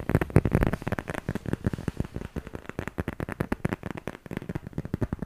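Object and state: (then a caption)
Smartphone case tapped and scratched. A handheld smartphone in a solid black plastic/silicone case, held in front of the microphone, is tapped and scratched with fingertips and nails. The result is a quick, uneven run of short, dull, low-pitched taps and clicks with almost no bright content. The taps are loudest and densest in the first second, then continue at a softer level.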